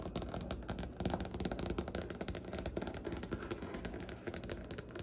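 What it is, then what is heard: Solid light wooden tabletop. Long fingernails of both hands tap quickly on a large, solid, light wooden table surface. The result is a dense, continuous patter of short, dry clicks with a soft woody thud beneath them. Each tap dies away almost immediately.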